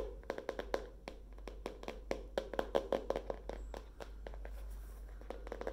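Long nails tap the cardboard cover and page edges of a hardcover spiral notebook with a wire spiral, tilted forward, in a rapid, uneven run of short, dry clicks. Each tap dies away almost at once, with a papery midrange body around 535 Hz and brief bright tips, over a faint, steady low hum.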